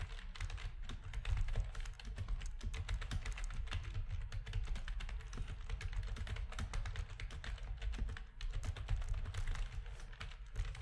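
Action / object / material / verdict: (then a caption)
tap / plastic computer keyboard / plastic / none. Fingertips of both hands type rapidly on a full-size black plastic RGB backlit gaming keyboard with a hollow housing. A steady stream of short, dry clicks and taps carries over a heavy low thump, and each press dies away almost instantly.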